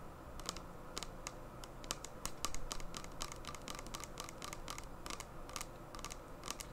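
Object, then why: Small plastic gel bottle. Long painted nails tap and scratch a small clear plastic hand sanitizer bottle with a flip cap, filled with liquid gel and held in both hands. The result is a steady run of quick, dry, bright clicks with short scratchy strokes over a low, soft rumble, each tap dying away almost at once.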